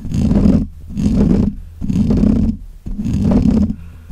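Fingernails of both hands scratch the black, hollow metal mesh grille of a desk microphone in four separate bursts of roughly half a second each, with short quieter gaps between. Each pass is a dense, gritty scratching texture with a heavy low, muffled rumble and little brightness, typical of close handling noise on the grille.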